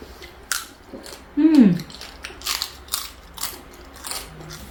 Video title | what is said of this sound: #shortsviral #shorts | Crispy talaga. Maririnig mo yung tunog ng crispy lechon pork belly.